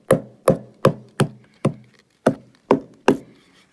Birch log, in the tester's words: when you tap this you can hear something that's not right